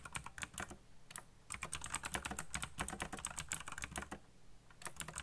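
Fast fingertip typing on the keycaps of a backlit black plastic mechanical keyboard produces a rapid stream of sharp, bright clacks over a steady low hum. The keystrokes come in quick bursts, briefly thin out just before the end, then resume.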